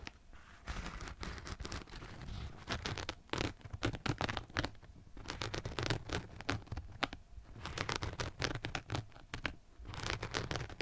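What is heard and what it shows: A hollow, empty black and yellow rubber-soled running shoe is scratched with fingernails, first across its synthetic upper and then along its rubber/foam sole. The result is dense, dry scratching in rapid bursts, with brief pauses between runs of strokes and no ringing after each stroke.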